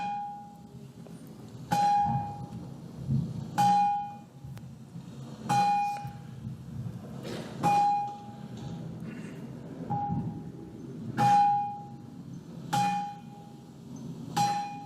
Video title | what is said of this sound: Paul Devereux - Psychedelia and Sacred Places | It sounds like this if you hit it with a small hammerstone.